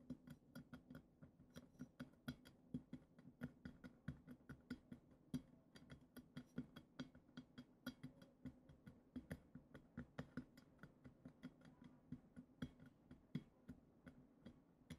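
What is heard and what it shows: Long acrylic nails scratch and tap the textured, glitter-coated glass foot of a goblet, producing a dense run of quick, dry clicks with a ratchet-like rasp. The clicks are sharp, bright and die away almost instantly over a soft low hum, repeating irregularly for the whole clip.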